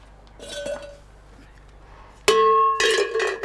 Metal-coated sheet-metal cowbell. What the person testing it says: Sa forme creuse et la composition métallique de la sonnette ont totalement modifié la qualité sonore.